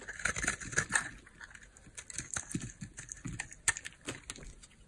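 A small, solid, peach-colored bar of hard soap is held in the palm and carved with a utility knife blade. Crisp, dry scraping and crumbly crackles repeat in short, bright strokes, some louder than others. Chunks and flakes of soap come away with each stroke.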